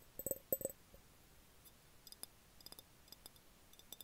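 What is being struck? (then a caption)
Glass jar. An empty, hollow, clear glass jar, lying on its side with an open threaded mouth and held in both hands, is tapped with the fingertips and nails. A few louder taps at the start give a soft hollow knock with a bright, glassy ping, then lighter, quieter clicking taps follow. Each one stops almost instantly.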